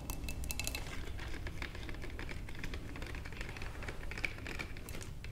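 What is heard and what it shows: Long nails from both hands tap rapidly and continuously on the sides of a wide, clear glass vase holding tulips. The result is a dense stream of light, clicky taps, each with a brief bright glassy ping around 2.3 kHz that dies away almost instantly, over a steady low rumble.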